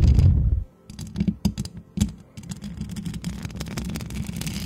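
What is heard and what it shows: Long acrylic nails on both hands scratch over the hollow perforated metal mesh head of a white microphone. A loud, deep rumbling opening gives way to a dense run of quick scratchy clicks and rasps. The clicks are bright-edged over a low boomy body and continue to the end.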